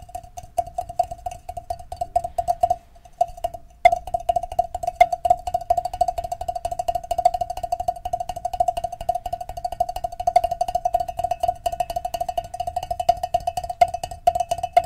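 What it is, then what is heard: Metal cowbell. Fingertips and nails of both hands tap and scratch the top of a large, hollow, black-painted metal cowbell mounted on a stand, while the other cowbells nearby stay untouched. Rapid, dense, soft taps each sound a short metallic tone around 700 Hz with scratchy clicks over it, pausing briefly near the three-second mark before carrying on steadily.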